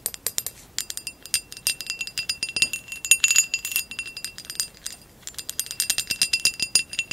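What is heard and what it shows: Long acrylic nails tap and scratch a hollow amber glass vase with a woven relief pattern, lying on its side. Rapid, bright glassy clicks and clinks ring briefly with a high tone, mixed with short scratching rasps across the textured surface, and a brief lull about two-thirds of the way through.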